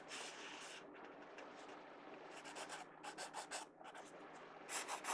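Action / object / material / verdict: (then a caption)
scrape / pencil tip on a paper sketchbook page / paper / none. A pencil tip scratches and rubs shading strokes across the page of an open paper sketchbook. It makes a soft, continuous scratchy rasp, then a run of quicker, brighter back-and-forth strokes that come in short bursts toward the end.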